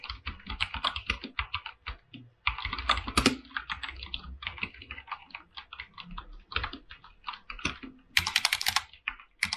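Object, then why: Mechanical keyboard, plastic keycaps on a metal plate. Fingertips tap and type on a full-size mechanical keyboard with white and blue PBT plastic keycaps set on a silver aluminum plate. A rapid run of short, bright clacks stops almost instantly after each key, with brief pauses near 2 and 6.5 seconds. A crisper, brighter flurry of keystrokes comes near the end.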